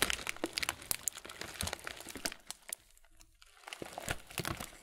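A clear plastic muesli bag full of granola has its top film crumpled and rubbed by hand close up. It makes dense, bright crinkling and crackling with sharp little snaps, which pauses briefly near the middle before resuming.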